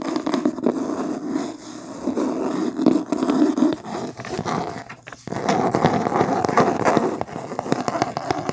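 Long painted nails scratch quickly across the beige linen-textured cloth cover of a medium, solid hardcover book, first held up and then lying on a table. The sound is a dense, continuous rasping scrape centered in the low-mid range. It dips briefly about five seconds in, then resumes louder and brighter.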